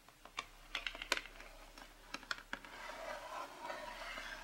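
Long pink-painted nails tap about ten times on a closed printed cardboard packaging box lying flat, making short, dry, bright clicks across its front cover and edges. The taps then give way to a soft, steady, hissy scratching over the cardboard until the end.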